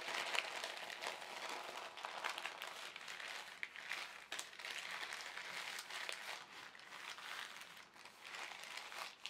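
An empty white printed polyethylene shopping bag, folded into a small rectangle, is crinkled by fingertips and then pressed flat on the table. The result is a steady stream of bright, dry crinkling and crackling with no low end, rising and falling in small bursts across the clip.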